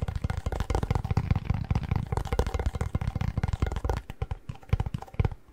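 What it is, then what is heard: Pringles chip can. Fingertips tap rapidly on the plastic lid of a hollow cardboard Pringles tube held at an angle. The result is a quick, uneven run of dull, hollow thumps with a low body around 94 Hz and almost no high end, each tap dying away almost instantly.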